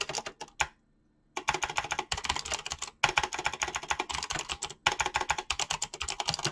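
Fingertips type fast across a mechanical keyboard with dyed PBT plastic keycaps, producing a dense run of short, bright, clacky keystrokes with little low end and no ring. The typing stops briefly after the first half second, then resumes in quick bursts separated by short gaps, staying busy to the end.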